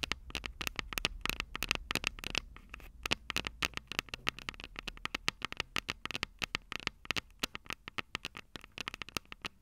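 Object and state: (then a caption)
Metal recorder microphone capsules tapped with fingernails. Long purple nails rapidly tap and scratch the small, hollow, silver metal microphone capsules of a Tascam DR-05 recorder. The result is a dense run of sharp, bright clicks that stop almost instantly, with soft scratching between them over a faint low rumble.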